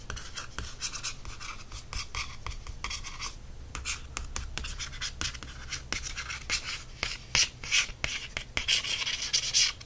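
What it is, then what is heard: Glossy paperback book cover. Fingernails scratch and trace across the front cover of a large glossy paperback embroidery book resting on a solid stack of pages. Dry, bright scratching strokes and quick clicks come in a dense, uneven run, growing louder and busier toward the end over a faint low hum.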